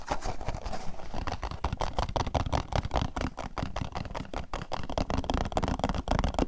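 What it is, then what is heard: Cardboard box. A small, hollow printed paperboard product box with a grape picture is tapped and scratched with fingertips and nails while held up close. Rapid, dull taps and scratches follow one another in a steady stream, mostly low and boxy with a faint papery rustle on top, and each hit dies away almost instantly.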